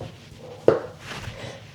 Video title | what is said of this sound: $10 INTO $100 in 30 Days? - WEEK 2 | Lightly flick the brim with the finger. It creates a hollow cardboard-like sound.